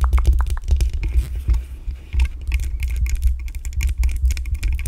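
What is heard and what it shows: Long acrylic nails scratch and tap the hollow metal mesh grille of a black USB condenser microphone. The result is a dense stream of quick, close-up taps and scratchy rustles over a heavy, boomy low-frequency thump.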